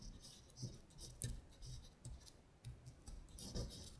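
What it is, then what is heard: Printed paper sheet. A long nail scratches across a thin paper sheet printed with lyrics, lying flat, as it traces the text. Soft, bright scratchy strokes come in short bursts over quiet, dull low thuds, with brief pauses between strokes.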